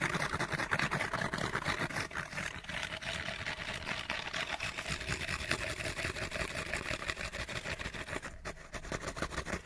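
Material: Cardboard.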